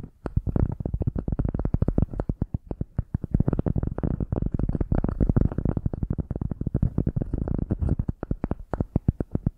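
Long nails scratch and tap the textured surface of a round, thick, solid cork coaster held upright in both hands. A rapid, steady stream of dull, soft taps with brief scratchy texture runs throughout, mostly low and muffled with almost no ring.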